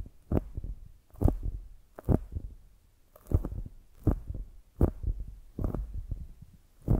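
Long nails scratch along the top edge of a solid polyurethane foam squishy donut, making dull, muffled scratching thumps in repeated short bursts. The sound is mostly deep and soft with very little brightness, each burst fading quickly into a low rumble.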